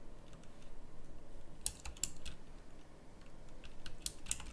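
Fingers with long nails type on a pink plastic mechanical typewriter-style keyboard with round plastic keycaps. Sharp, bright clacks ring out, with a few louder snaps standing out over a steady low rumble.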